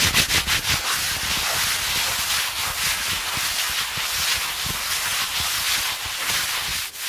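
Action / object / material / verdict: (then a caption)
scrape / denim jeans over a knee / denim / none. Fingers and fingernails scratch and rub worn blue denim jeans over a seated person's raised knee, close to the microphone. The sound is a steady, bright, dry rasping hiss, with quick rhythmic strokes at the start settling into continuous scratching.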